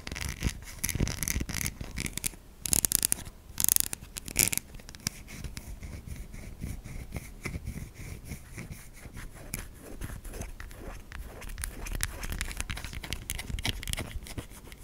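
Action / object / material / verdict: scrape / solid soap bar / soap / none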